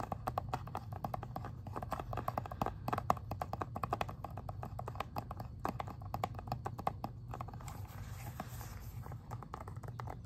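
Fingernails tap rapidly on the back and then the front of a plastic Xbox 360 video game case, making quick, dry clicks with almost no ring. The clicks sit around the midrange near 740 Hz over a steady low hum, and the bright high end stays faint.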